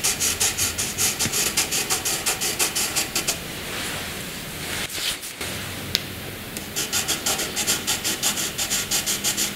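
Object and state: Graphite pencil scratching on paper.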